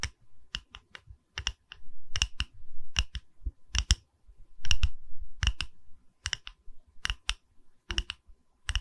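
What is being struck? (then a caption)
Wooden pedestal. Fingers tap on a wooden pedestal, producing a quick series of short, dry knocks with a deep low thump and a bright click on top. The taps come in uneven clusters, some close together and some spaced apart. Each knock dies away almost immediately over a quiet background.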